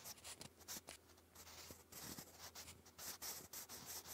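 A sharpened wooden graphite pencil writes English cursive across a thick grey lined cardstock sheet lying flat. The result is a soft, bright scratching and rubbing, with quick strokes and short pauses in between. A faint low hum sits underneath.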